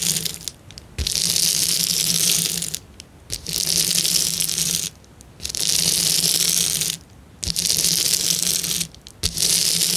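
Fingers press and crush the bubbles on a clear plastic bubble wrap sheet. Dense bursts of bright, crackling pops come in five rushes separated by short quiet pauses, with the last rush cut off at the end.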